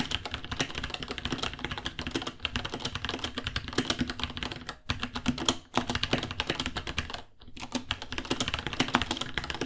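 Fingertips of both hands type continuously on a white, roughly 30 cm, 66-key mechanical keyboard with Gateron Brown switches, plastic keycaps and a hollow case. The result is a rapid, steady stream of short, bright clicks and clacks with a hollow plastic thock underneath. Brief pauses come near the 5-second mark and again just past 7 seconds.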